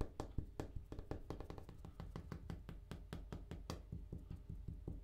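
A bathroom countertop is tapped in a quick, irregular series of short, dull taps. Each tap has a low thud and dies away almost immediately.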